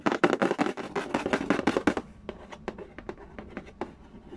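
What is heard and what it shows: Fingertips and nails trace, tap and scratch the glossy lid of a hollow, printed cardboard Candy Land board game box lying flat on a wooden floor. The first two seconds are a dense flurry of fast, dry scratching and tapping. It then thins into quieter, crisp, separate taps with a short hollow knock.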